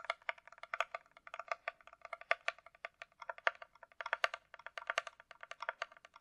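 Long acrylic nails tap and scratch a closed, hollow, empty Kate Spade hard-shell glasses case with a glossy coated shell, possibly plastic. Around 37 quick, dry, clicky taps come in an uneven rapid run, with a hollow mid tone and bright top but no low end. Each tap stops almost at once.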